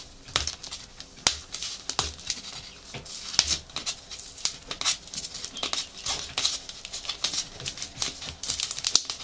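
A small cylindrical item wrapped in brown kraft paper is held in both hands while the paper is crinkled, rubbed and scratched with fingers and nails. Dense, crisp, high-pitched crackling and scratching continues throughout, punctuated by sharp, short snaps.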